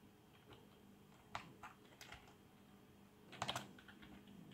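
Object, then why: Plastic membrane keyboard. Fingertips of both hands type on a black plastic membrane keyboard with RGB backlight. Soft, muted keystrokes land irregularly over a quiet background hiss, ending in a quick burst of several brighter taps.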